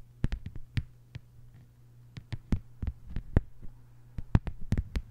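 Long white-polished fingernails on both hands tap a thin, solid, flat lime-green plastic cutting mat lying on a table. There are 17 short, dry, clicky taps in an uneven rhythm, some in quick pairs and clusters, with almost no ring. A steady low hum runs underneath throughout.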